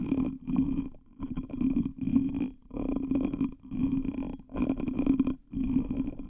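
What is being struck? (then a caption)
Small cut glass bottle. Fingertips and nails tap and scratch the patterned surface of a small, hollow, ornate pressed or cut glass bottle that looks empty, held upside down near a microphone. Close, rapid tapping and scratching comes in short bursts separated by brief pauses, with a hollow resonance around 270 Hz and bright glassy highs.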